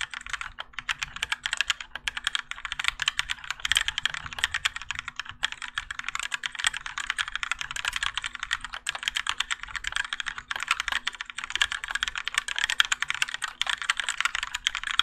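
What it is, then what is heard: Mechanical keyboard with ABS plastic keycaps. Continuous fingertip typing with both hands on a Keychron K4 compact mechanical keyboard with Gateron Yellow switches and grey and orange ABS plastic keycaps, set in a plastic and metal case resting on a desk mat. A rapid, steady stream of short, bright, clacky keystrokes with very little low end, each dying away almost instantly, with occasional louder strikes.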